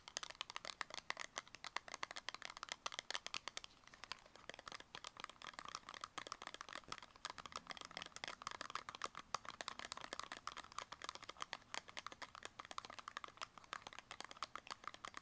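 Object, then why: Small cardboard cosmetic box. Long acrylic nails tap rapidly on the sides of a small, closed, purple square cardboard cosmetic box. The result is a fast, continuous stream of sharp, dry clicks with a bright, papery edge centered in the midrange around 1 kHz. The clicks have almost no low end and no ring after each tap.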